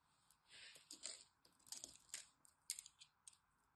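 A blade scores a solid green soap bar held in the hands into small cubes and scrapes them off. The result is quiet, dry, bright crunching and scraping with short crisp clicks, the cuts coming in uneven bursts with almost no low end.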